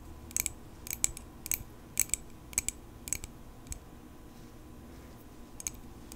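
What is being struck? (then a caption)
Small metal pocket knife. A small, solid silver metal pocket knife is held in both hands and tapped with long pink acrylic nails. Short clusters of sharp, bright clicks come at a steady pace, then pause before one last tap near the end. The taps die away almost instantly over a quiet background.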